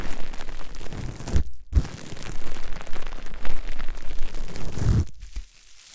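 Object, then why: Plastic bubble wrap sheet. A long sheet of clear plastic bubble wrap is held in both hands and squeezed, twisted and rubbed between them, producing dense, bright crinkling and crackling with scattered pops and low thumps. The rustling briefly drops out near the middle, resumes, then fades to near-silence at the end.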